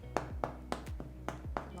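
A freshly baked small spelt loaf, just taken out of its mold, is tapped several times to check whether it is cooked. Each tap is a short, dull knock with a hollow tone and almost no ring. The hollow sound means the loaf is baked through.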